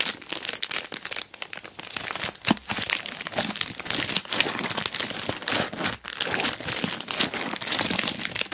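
Long black nails scratch and fingers rub quickly across an orange plastic Temu mailer bag wrapped around a box. The result is a dense, continuous crinkling and scratching that is bright and hissy, with almost no low end and a few sharper crackles standing out.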